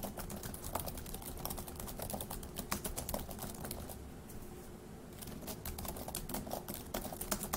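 Both hands type with their fingertips on a dark laptop keyboard with plastic keys, producing fast, crisp key taps over a low steady background hum. The tapping briefly eases into a quieter lull around the middle before picking back up.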